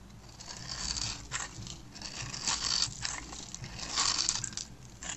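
A blade with a yellow handle scrapes across a palm-sized, solid green and white striped dry soap bar held in the hand, sending crunchy cubes scattering. Bright, dry crunching and scraping sweeps rise and fall in uneven bursts, with little low end.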